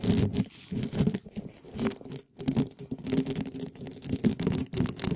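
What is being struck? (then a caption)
Metal mesh microphone grille scratched with spiky plastic balls. Small yellow and red spiky plastic balls, held in gloved fingers, are scratched and brushed quickly across a hollow black metal mesh microphone grille. The result is a dense, fast run of scratchy, crunchy rustling bursts with a heavy, boomy low end, broken by a brief silence partway through.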